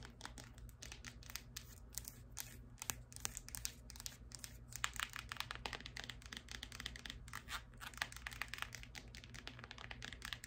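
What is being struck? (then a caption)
Clear plastic heeled sandal. Long acrylic nails tap and scratch across a single hand-held, hollow women's high-heeled sandal with a clear PVC plastic upper and heel and rhinestone-studded straps. The result is a continuous stream of quick, dry, bright clicks and crinkly scrapes with no ring after each contact. A faint low steady hum sits underneath.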